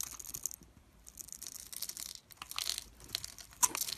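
A metal utility blade carves small cubes off the surface of a solid, opaque, oval teal soap bar that is held in the fingers and pre-scored in a grid. Quiet, bright, crumbly scraping and crunching crackles come in uneven bursts. A sharper snap is heard near the end.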